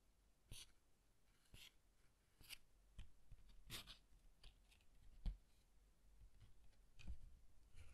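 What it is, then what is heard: Paper pop-up card being handled. Fingertips rub a green cardstock card and open and fold its paper pop-up harp. The result is quiet, soft rustles and brief bright crinkles scattered over the clip, with a low faint rumble underneath.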